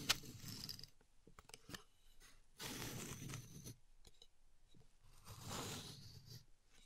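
Long nails and fingertips press, tap and scratch the many thin blue plastic pins of a contour gauge lying flat in a dark frame. Three bursts of bright, dense scratchy rattling are separated by quieter stretches of sparse, dry clicks and taps that die away almost instantly.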